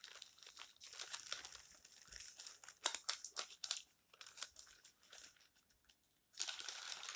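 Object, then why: Coated paper magazine pages. Fingertips and palms rub, smooth flat and turn the thin, coated pages of a large, open, colorful glossy printed magazine lying on a stack on a table. The result is a dense, bright rustling and crinkling, with sharp high paper crackles and a brief silence before the rubbing resumes near the end.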